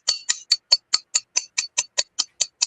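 The side of a shape-memory alloy knife blade is tapped against a tempered steel honing rod, producing 13 quick, evenly spaced bright ticks. Each tap is short and high-pitched, with almost no ring, giving a dead sound rather than the sustained ringing of more cohesive, more expensive shape-memory alloys, a difference attributed to internal material cohesion and atomic composition.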